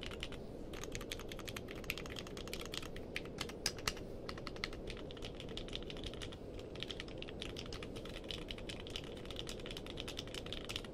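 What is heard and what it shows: Fingertips type steadily on a compact mechanical keyboard with a purple case and white and dark plastic keycaps. The result is a rapid, continuous patter of short, bright clicks over a soft low rumble, with a few sharper keystrokes standing out.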